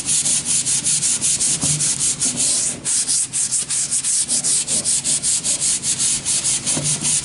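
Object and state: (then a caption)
Wooden board being sanded. A hand-held sanding sponge is rubbed back and forth along the edge of a long, thin, solid wooden plank. It makes a steady, rhythmic, bright, hissing scrape at about two and a half strokes per second, with brief dips between strokes and almost no low end.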